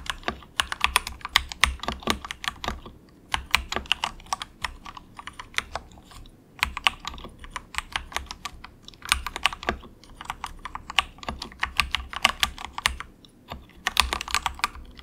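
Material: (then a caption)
Plastic. Fingertips of both hands type softly on a compact 68-key plastic mechanical keyboard with a hollow case, resting on a desk mat; it is a very inexpensive model. Bursts of quick, bright, clacky keystrokes come in runs separated by short pauses, over a faint steady low hum.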